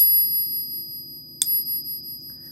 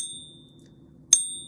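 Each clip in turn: First: 90% silver coin, genuine, clear ring. Second: pure silver coin, genuine, high dead ring.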